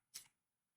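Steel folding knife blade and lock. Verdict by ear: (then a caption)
Dull. An Ozark Trail 7.5 Cross Lock steel folding knife is flicked open only barely, so inertia on the ball bearing finishes the opening. A single short, bright snap is heard as the blade and lock engage, dying away almost at once. The lockup is a softer thud rather than a high-pitched metallic ting, which is normal for this knife.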